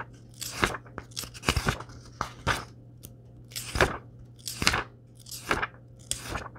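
Fingertips and palms rub and tap the printed paper pages of a large, thick Star Wars short-story paperback lying open on a wooden table, then turn the pages. Irregular crisp, bright papery swishes and dry taps rise and fade over a faint steady low hum.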